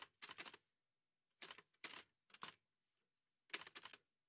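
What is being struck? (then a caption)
Manual typewriter with metal body and typebars. Fingertips in white satin gloves press the keys of a large, heavy old Remington manual typewriter with a dark painted metal body and paper loaded, driving the typebars against the page. About five quick bursts of keystrokes come through as bright, dry, clattering clacks. Each strike dies away almost at once, with silence between the bursts.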